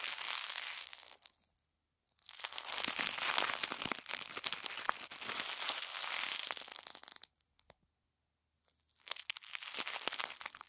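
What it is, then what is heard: Crumpled tissue paper. A crumpled wad of thin white tissue paper is passed from one hand to the other, then squeezed and crinkled with the fingers over a wooden table. Dense, bright crackling and rustling comes in three bursts, with two brief silent pauses between them.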